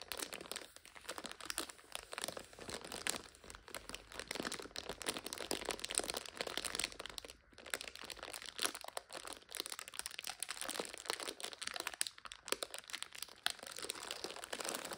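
Long nails scratch and tap a full five-packet instant noodle multipack in its plastic overwrap, producing continuous bright crinkling and crunching. Dense, rapid crackles fill the clip with only brief dips in level, almost nothing in the low end, and no lingering ring.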